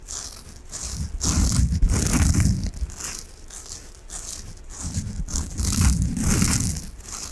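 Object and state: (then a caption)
Foam sponge being scratched. A large, peach-coloured, solid and squishy soft foam sponge is held in both hands and scratched with fingertips and nails. The result is a dense, crinkly scratching and rustling with a soft low rumble and a bright hiss. It swells louder twice and eases off in between, with no ringing after the strokes.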